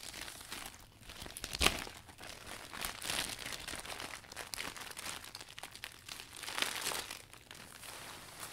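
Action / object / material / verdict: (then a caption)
scrape / vinyl umbrella canopy / vinyl plastic / none. Hands gather and squeeze the loose canopy of a new, folded clear vinyl umbrella while handling it to wipe it down, producing continuous bright crinkling and crackling. Louder crunchy bursts stand out around 1.6 and 6.7 seconds, with little low-end body.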